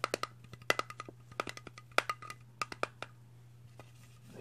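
A green, hollow, hard-plastic Slimer ghost toy figure, about hand-sized, is held in one hand and tapped on its body with the fingertips of the other hand. About nineteen quick, dry, hollow clicks with a bright, woody tone near 2 kHz come in uneven bursts over a steady low hum, then fade to faint taps.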